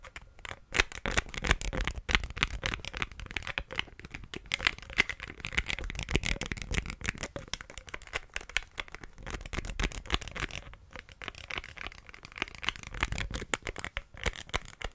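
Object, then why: Glass perfume bottle with cap. Fingernails rapidly tap and flick the black cap and neck of a green glass perfume bottle partly filled with liquid. The result is a dense, continuous stream of quick, dry clicks and ticks with bright highs and a soft low thud underneath. Each tap dies away almost instantly.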